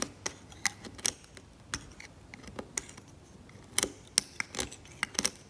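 A steel scalpel blade scrapes the varnish of a cracked, varnished oil painting on canvas, lifting off flakes. The sound is a quiet run of short, dry, bright scratching clicks over a faint background hiss, with almost no low end and no ringing after each stroke.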